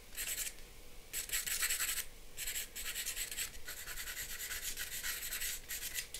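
A charcoal pencil scratches lines and shading across a flat sheet of drawing paper resting on a board. It makes bursts of dry, bright rasping and scratching, separated by short quiet pauses, with a soft hiss underneath.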